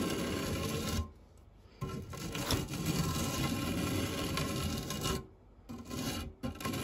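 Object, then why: Metal fluted tart tin scraped with a silicone spatula. A white silicone spatula scrapes and rubs the textured base of a round, dark non-stick metal fluted tart tin holding a pile of cake crumbs. The result is a steady, gritty rasping scrape with a low body and some brighter hiss, broken by two short quiet pauses.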